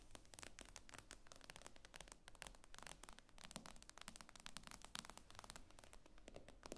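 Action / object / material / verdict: scrape / tablet with glass screen / glass / none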